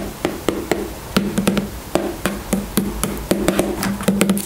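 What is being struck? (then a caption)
Plastic squeeze tube. Long nails tap the sides of a white plastic styling gel tube standing on its cap, making around eighteen quick, hollow clicks with a low resonant tone. The taps are dry and short, with irregular spacing and brief clusters of faster taps.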